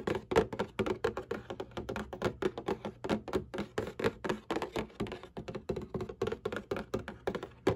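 Long painted nails and fingertips tap and scratch the bottom panel of a Kleenex cardboard tissue box lying flat, hollow and partly full of tissues. About forty quick, uneven, hollow thunks centered around 440 Hz die away almost at once, with faint scratchy texture between them.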